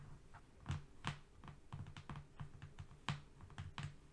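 Both hands tap quickly with their fingernails on a flat brown cardboard strip, like typing. It makes a rapid, uneven run of dry clicks, each with a low papery thump and a bright tick that stops almost at once. Two taps stand out louder than the rest.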